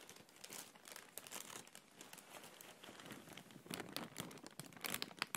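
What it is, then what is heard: Thin plastic bag being crinkled. A thin, empty clear plastic bag is held in the hand and gently scrunched and rubbed with fingertips and nails. It gives soft, continuous crinkling with bright, crisp rustles that grow sharper and louder near the end.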